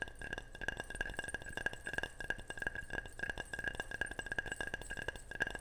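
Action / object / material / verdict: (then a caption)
tap / ceramic object / ceramic / none. Rapid, repeated tapping on a ceramic object gives a steady run of short, bright clinks. Each tap rings briefly around a mid-high tone near 1.6 kHz and fades almost at once.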